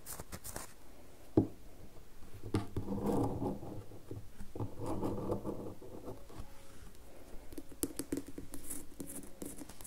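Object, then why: Bar of soap. A solid red bar of soap rests partly on a table and is then lifted while fingernails scratch and tap its surface. Soft, dull scratching and rubbing comes in low-mid bursts, broken by light, quick taps, with one sharper tap early on.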